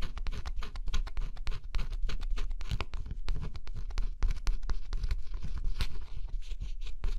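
A thin scraper stylus scratches steadily across the black scratch-off coating of a flat cardboard jigsaw puzzle. The result is a close, continuous run of dry, rapid scraping strokes with bright, gritty edges over a low, rumbling undertone.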